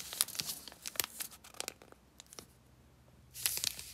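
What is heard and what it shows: An unopened, solid milk chocolate bar in a paper and foil wrapper is held in both hands and turned over while long painted nails and fingertips rub, squeeze and crinkle the wrapper. Bright, crisp crinkles and sharp crackles come in quick, short bursts. The sound thins to near quiet in the middle, then ends with a louder, denser rush of crinkling.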